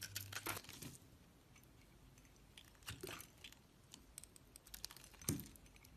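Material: Soap.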